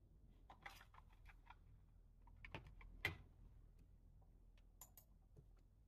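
Fingertips of both hands type on a full-size black plastic computer keyboard resting on a desk, pressing the keys. The result is an irregular run of short, bright plastic clicks and taps over a low background rumble, with a louder clack about halfway through.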